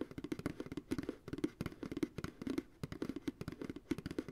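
Fingertips tap rapidly on the base of a medium, hollow, empty white plastic ice cream pail, about two dozen quick taps in uneven bursts. Each tap is a short, hollow, dull knock with a mid-low body around 310 Hz and almost no high or bright content. Every tap dies away almost instantly, leaving a dry, quiet pattering.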